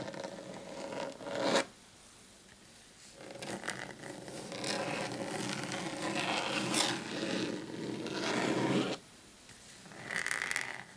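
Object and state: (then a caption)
Desk mat scratched with fingernails. Short painted fingernails on both hands scratch across a large, flat black desk mat lying on a table. Dry, raspy scratching comes in a short burst, then a long steady stretch, then a brief final flurry, with quiet pauses between.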